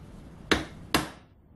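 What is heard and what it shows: A hammer strikes a piece of soft steel twice, giving two short, dull knocks that die away quickly with almost no ring, unlike the ringing of hard steel. The dull sound marks the steel as soft.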